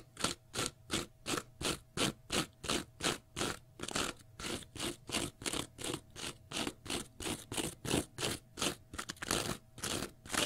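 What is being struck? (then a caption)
Cellulose sponge block. Fingernails scratch the face and edge of a small block of pale green porous cellulose sponge in a quick, steady rhythm of nearly three strokes per second. Each stroke is a short, bright, crunchy rasp, and the strokes blur together briefly near the end.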